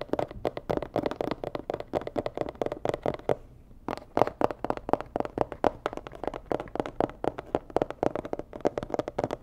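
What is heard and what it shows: Long nails tap rapidly on a medium, hollow, rigid white and red cardboard box, making a steady stream of dry, short clicks with a hollow midrange knock near 600 Hz. The tapping pauses briefly a bit over halfway through, then resumes at the same quick, uneven pace until the end.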